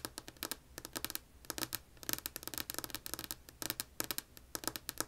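Long polished nails tap rapidly with both hands on a flat, solid, light wood-grain tabletop, picked up by an earbud mic lying on the table. About 29 short, dry, bright clicks come in uneven bursts, each dying away almost instantly, over a faint low hum.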